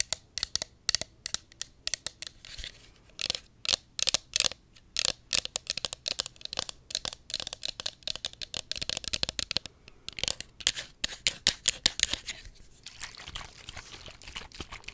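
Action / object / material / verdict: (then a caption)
scrape / small plastic pump bottle / plastic / none. A small, hollow pink plastic cosmetic pump bottle is held close to the mic and scratched and tapped with long nails. It makes a dense run of quick, crisp clicks and scratchy rasps, almost entirely bright and high with very little low end. Each tap dies away at once, without ringing.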